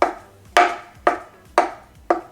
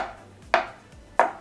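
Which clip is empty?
The first.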